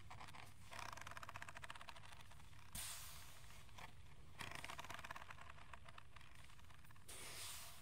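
A hollow plastic aroma diffuser, glowing white-blue and held in one hand, is scratched with fingernails and tapped with fingertips on its shell and top. Bursts of fast, bright scratching alternate with brief quieter pauses, and a few sharper taps stand out over a steady low rumble.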